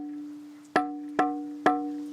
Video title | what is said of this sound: L'Avallonnais : une charmante cité fortifiée - 1000 Pays en un - Documentaire Voyage - MG | Pour reconnaître la qualité d'une pierre, on la fait sonner en fait. Vous voyez, ça sonne comme une cloche. Voilà, donc là, ça veut dire que la pierre est de qualité.